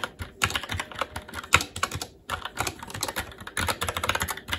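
Fingertips of both hands type continuously on a SteelSeries Apex 7 TKL mechanical keyboard with red linear switches, plastic keycaps and a metal top plate. The result is a rapid, uneven stream of short, bright, clacky keystrokes that die away almost instantly, with a brief pause just past the two-second mark before the typing picks up again.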